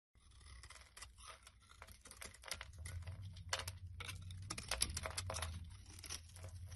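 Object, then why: Bar of soap shaved with a blade. A solid rectangular white bar of soap with embossed lettering is held in hand while flakes are shaved off it with a black utility blade. Short, crisp scraping and carving strokes repeat at an uneven pace, each a dry, crunchy rasp that is bright on top, over a steady low rumble.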